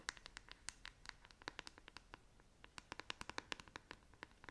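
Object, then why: Plastic paddle hairbrush back. Long nails scratch and tap the smooth, hollow back of a black plastic paddle hairbrush, producing a quick, uneven run of about thirty sharp clicks. The dry, bright ticks ring around 1.7 kHz and stop instantly, with a faint scratchy hiss between them.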